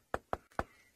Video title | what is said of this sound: safariLIVE - Sunrise Safari - March 18, 2018 | You can hear how dry it is when I knock on it.